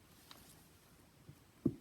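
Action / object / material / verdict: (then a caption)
tap / opened pumpkin tapped on the outside / pumpkin / hollow. A pumpkin with its top cut off and its insides partly scooped out is tapped on its outer shell. The taps are soft, short, dull thuds with a low, quickly fading knock, the last one the loudest. With the pumpkin opened, the tapping sounds a little louder, with the sound coming out through the opening.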